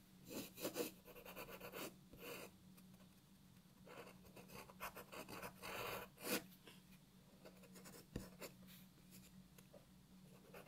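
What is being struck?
Graphite pencil on a paper sheet.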